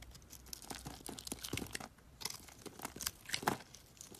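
A box-cutter blade slices and scrapes a solid yellow bar of soap into thin strips. The result is a quiet run of dry, crisp crackles and short tearing scrapes with bright edges, rising in brief bursts and trailing off between cuts.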